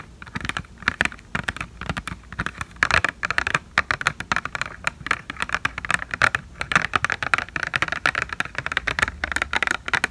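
A small, hollow, clear/white plastic blister tray holding false eyelashes is held in both hands and tapped with long painted fingernails. Quick, light, clicky taps come in a steady rapid stream, each a sharp hollow plastic tick centered around 1.4 kHz with bright edges. Every tap dies almost instantly.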